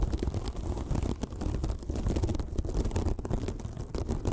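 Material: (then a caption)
Foam. A small, white, sparkly foam sponge, soft and porous, is scratched with long nails. The result is a continuous, dense scratching with a heavy low rumble underneath and quick crackly rasps that streak up into the bright range.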